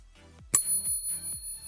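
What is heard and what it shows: A silver coin is pinged with a pocket pinger and gives a single sharp strike. It rings with a clear, sustained, bell-like tone at a very high pitch over quiet background music. The ring is genuine, the sound of real silver.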